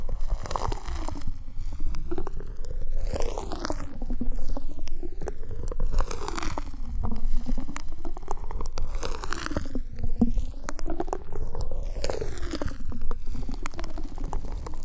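Fingertips scratch and rub along the ribbed surface of a long, black, flexible corrugated plastic duct hose, hollow and empty, held upright in front of the mic. The result is a steady stream of dense, crackly scratching over a heavy low rumble, with a hollow resonance that sweeps slowly up and down throughout.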